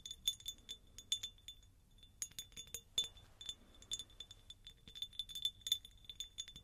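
A hand-sized, clear, faceted cut-glass jar, hollow and apparently empty, is tapped with long acrylic nails. It makes a quick, irregular stream of bright, high glassy clinks with a thin ring near 3.5 kHz that dies away almost at once.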